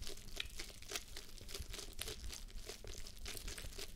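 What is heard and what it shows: Long nails scratch the lower cheek areas of a pink plush fabric face mask fitted on a mannequin head. The result is a quiet, steady stream of soft, bright crinkling and scratchy rustles, with short bursts over a low, muffled rumble.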